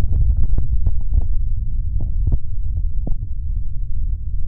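Flat fingers of both hands rub and tap the hollow gray plastic shell of a binaural dummy-head microphone. The result is a continuous deep, muffled thumping and rumbling, with short tap clicks rising briefly above the low boom.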